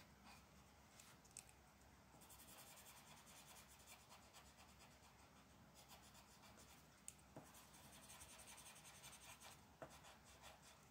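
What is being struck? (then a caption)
Paper page rubbed by a felt-tip marker. A dark felt-tip marker held in one hand is rubbed and scratched across a thin printed paper mandala coloring page lying flat on a dark wooden table, while the other hand, with long black nails, rests on the sheet. Quiet, steady scratchy rubbing comes in bursts of bright, hissy coloring strokes. Four brief sharp ticks stand out along the way.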